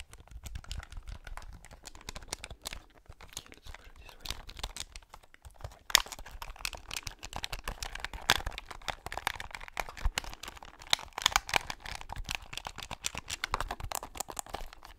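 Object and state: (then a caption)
Plastic game controller. A black hollow plastic Sony PS3 gamepad, held in both hands close to the mic, is tapped and pressed on its buttons and shell by fingertips and nails. The result is a dense stream of quick, dry, bright clicks and taps with no ring, plus a few sharper, louder snaps.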